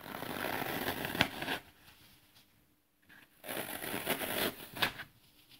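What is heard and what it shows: A small, thin leftover piece of dry green floral foam is held in both hands and crushed as thumbs and fingertips press into it, with crumbs falling onto artificial grass below. Two bursts of dense, bright crackling and crunching are heard, each with a sharp snap, separated by a quiet pause.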